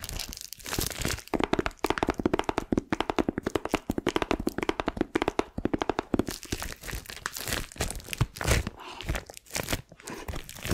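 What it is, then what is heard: Plastic-wrapped cardboard box. Long nails scratch, tap and crinkle the clear plastic film wrapped over a hand-sized, flat, pink Mickey-shaped cardboard gift box. Rapid, dry taps and crackles ride over a steady crinkling rustle, with a faint low-mid body around 260 Hz and bright crisp edges. Each tap stops dead with no ring.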